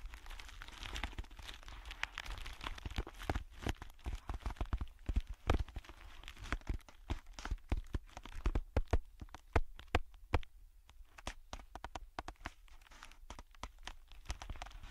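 A thin, hollow, clear plastic air-cushion bubble pack bag is crumpled and squeezed between the fingertips of both hands over a black headphone earpad. It produces steady crinkling with many sharp pops and crackles throughout, over a deep low rumble.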